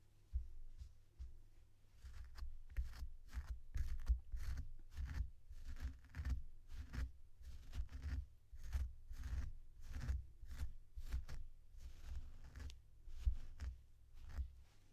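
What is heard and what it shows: Long synthetic fur on a purple faux fur plush toy with googly eyes is combed with a blue plastic comb and pulled by the fingers. Close, repeated soft scratching and brushing strokes come in quick bursts, with a dull low rumble underneath throughout.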